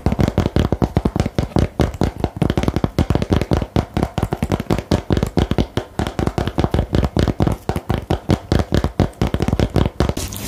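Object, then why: Cardboard game box. Fingernails tap rapidly on the lid of a small printed "Geheimakte" cardboard game box held in the hand, about 66 quick, hollow taps in 10 seconds. Each tap is a short, dull, low-heavy thud with almost no ring, and the steady, fast rhythm runs throughout.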